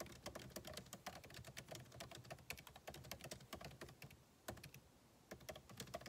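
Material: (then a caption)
Plastic. Fingertips type continuously on a backlit MacBook Pro keyboard, its plastic keycaps set in an aluminum body. The result is a quiet, rapid stream of short, dry key taps with bright clicks and soft low thuds, with a brief lull near the end before the typing resumes.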